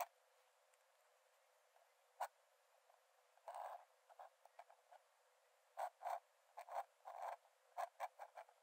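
A metal nib in a wooden dip-pen holder scratches lines onto the cream paper page of an open sketchbook lying flat on a dark desk. About fifteen short, dry scratching strokes of varying length come in uneven bursts, some longer and some brief ticks, centred in the mid range with no low end and separated by near silence. The strokes are quiet and stop sharply with almost no ring.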